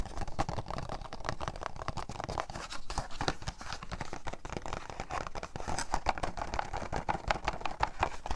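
A small, hollow printed paperboard product box with a grape picture is tapped and scratched with fingertips and nails while held up close. Rapid, dense taps and scratches run throughout, producing dull, hollow knocks with a papery rasp and almost no ring. The sound is weighted toward the low end with a midrange tone, and grows slightly busier and louder toward the end.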